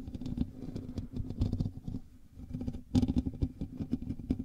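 Fingertips and nails on both hands scratch the hollow metal mesh grille of a black USB microphone. The result is a dense, rustling patter with a heavy low rumble and a steady hum near 250 Hz. It eases into a quieter stretch midway, then returns with a sharper, louder burst of scratching.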